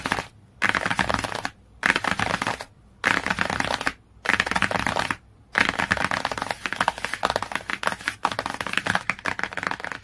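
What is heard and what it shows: Fingernails rapidly scratch and tap on the glossy cover of a cardboard hardcover book. The sound comes in dense, crackly bursts with brief silent pauses between them, then runs continuously for the last few seconds. The texture is bright and papery, with little low end.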